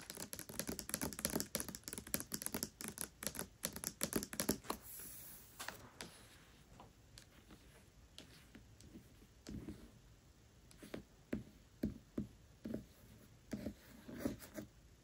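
Long nails tap and scratch the paper dust jacket near the top edge of the hardcover book *Tress of the Emerald Sea*, which lies flat. For the first five seconds a rapid, dense flurry of crisp, dry ticks follows, then a brief bright scratching sweep. After that come sparser, slower taps with quiet papery rustle between them.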